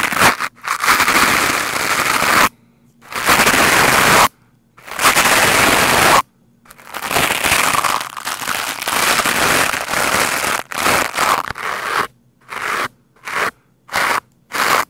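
The stiff bristles of a lime-green scrub brush are scratched fast across a black foam microphone windscreen, producing loud, dense, crackling bursts of bright, broadband scraping. The bursts come in uneven stretches separated by short silences, growing shorter and choppier toward the end.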